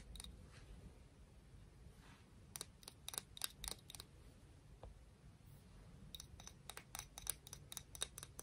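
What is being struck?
Conch shell.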